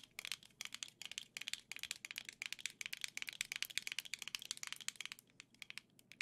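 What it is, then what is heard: Plastic game controller tapped with nails. Long nails tap rapidly and unevenly on gold Joy-Cons attached to a black plastic grip held in both hands. The sound is a dense run of sharp, bright clicks with almost no low end and no ring.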